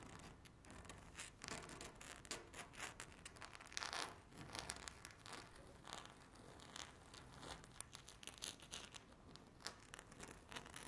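Two very long, curved natural nails scratch and tap a flat, solid speckled laminate tabletop. The result is a quiet, steady stream of bright, dry scratching and rasping, with quick ticks and clicks that stop dead and barely ring.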